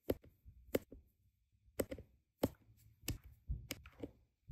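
A plastic drill pen with a metal tip places small, solid, round resin diamond painting drills onto a flat adhesive canvas, tapping them into place repeatedly. About ten quiet, sharp clicks arrive at an uneven pace, each dry and short with a slight mid-range knock and a faint low thump beneath.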